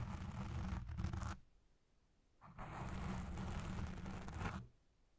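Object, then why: Foam microphone windscreen. Long red nails and fingertips slowly scratch and lightly touch a black foam windscreen dome on a Blue Yeti Pro microphone. Two bursts of dense, rumbling, low-heavy scratching are heard, separated by a short near-silent pause, before the sound cuts off.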